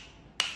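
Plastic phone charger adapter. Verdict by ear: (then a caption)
Solid. A plastic original phone charger adapter is knocked once, giving a sharp, bright click with very little ring. It sounds solid and hard, unlike a fake one.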